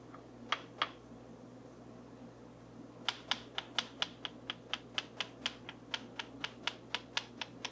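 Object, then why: Wooden comb tapped with a wooden stick. A small, solid, light wooden comb is held in one hand while a dark wooden stick or brush handle is scraped and tapped across its teeth. Two sharp, bright clicks are followed by a pause, then a run of twenty crisp, dry taps at an uneven pace, peaking around 3.4 kHz and dying away almost at once. A faint steady low hum runs underneath throughout.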